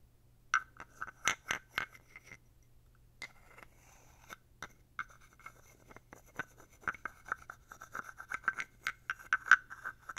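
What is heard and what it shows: A thin wooden stick is scraped along the ridged back of a small, dark, solid carved wooden toad figurine close to the mic, producing about 23 short, dry, ratcheting clicks and scrapes. The clicks come in quick bursts with brief pauses and a few soft rubs between them. Each has a woody tone centered near 1.5 kHz with bright edges and almost no ring.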